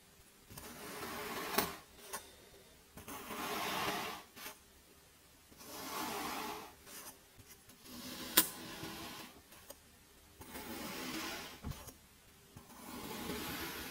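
A small metal blade tool pokes and cuts through a cup of packed teal kinetic sand, making six soft, gritty scraping swells that hiss bright and crumbly. Between the strokes come a few sharp clicks and taps as the blade meets the sand or the cup.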